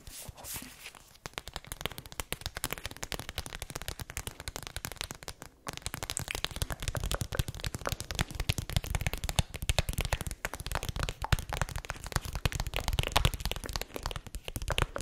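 A flat printed foil-plastic snack pouch labeled 'Wolke 7', seemingly empty, is held in both hands and tapped and crinkled with long acrylic nails. Dense, rapid crackles and sharp clicks run continuously across the clip, with a low rumbling body under a bright crinkly top, and a brief quieter pause just before the middle.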